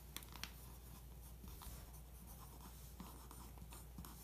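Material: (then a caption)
Paper. A pencil point scratches across the printed headline and photo on a glossy paper magazine page, tracing them. Quiet, dry scratching strokes with a few sharper ticks run over a steady low hum.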